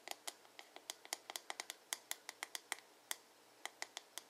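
Fingertips and nails quickly tap and scratch the glossy blue plastic back of a hollow paddle hairbrush, making 22 sharp, dry clicks at an uneven pace. Each tap is bright and hollow, centred around 2 kHz with high overtones, and dies away almost at once with no low end.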